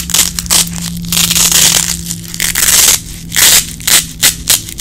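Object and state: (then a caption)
Nylon hook-and-loop strap being peeled. A small red nylon Velcro hook-and-loop strap is held in both hands while fingertips with long nails pull the hook and loop sides apart and press them back together. This makes bright, crackly ripping bursts, some long and drawn out and others short and quick, over a faint low hum.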